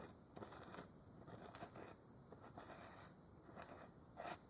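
Fingers twist and scrape at the plastic cap of a large white plastic Clorox bleach jug held upright. Quiet, dry scratching and crackling rasps come in uneven bursts, with brief brighter clicks standing out.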